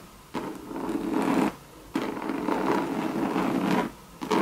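Long red pointed nails scratch the base and side of a hollow, medium monogram coated-canvas Louis Vuitton bucket handbag with leather trim. Three long passes of dry, rasping scratching rise out of quiet gaps, with a steady low-mid body around 200 Hz and a brighter papery hiss on top.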